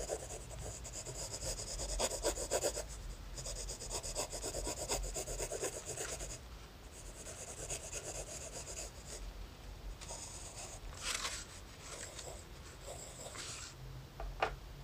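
A wooden graphite pencil held in the fingers makes rapid, hair-line scratching strokes on a thin lined notebook page. The dry, bright rasping comes in dense bursts with short pauses between them, over a steady low hum.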